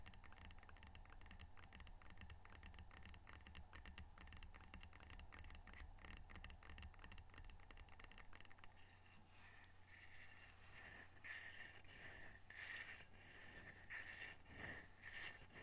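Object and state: Ceramic tile coaster.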